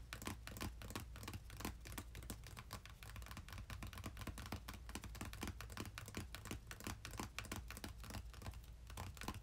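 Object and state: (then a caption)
Cardboard box. Fingertips of both hands rapidly tap and drum on the top of a small, closed, red printed cardboard game-console box with its contents inside, resting on a bed. A fast, uneven stream of short, dry, crisp taps runs throughout, each dying away almost instantly, over a steady low hum.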